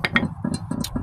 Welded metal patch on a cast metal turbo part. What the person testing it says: that's solid that's welded up on both sides so that should be sealed up